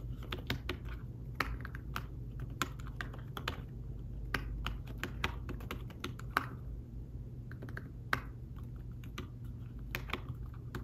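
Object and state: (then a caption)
Fabric-covered tablet keyboard being typed on. Fingertips type on a thin fabric-covered folio tablet keyboard, producing a steady run of soft, quick, muffled taps with very short decay. The clicks are dull rather than sharp, and a constant low hum sits underneath the typing.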